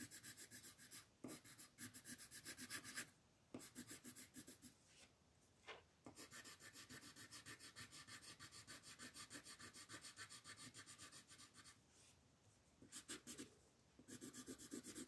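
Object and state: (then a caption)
Colored pencil shading on a paper sheet. A dark red wooden colored pencil scratches and rubs across a flat white paper mandala coloring sheet in shading strokes. Quick, uneven back-and-forth strokes produce a bright, papery scratching hiss, broken by a few brief pauses.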